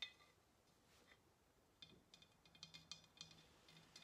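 Long nails tap the body of a hollow ceramic pottery vase held sideways in the hands. The taps are quiet, bright clicks with a faint ringing tone around 3.6 kHz that dies away quickly. They are scattered at first, then come in a quicker run over a soft low hum.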